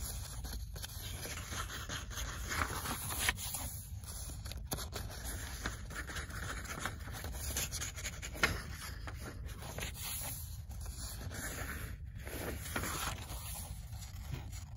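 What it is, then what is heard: Paperback book pages. Long acrylic nails scratch and tap the printed paper pages of an open paperback book. A steady, dry scratching rustle runs throughout with a bright papery hiss and a low rumble underneath. A few sharper taps stand out here and there.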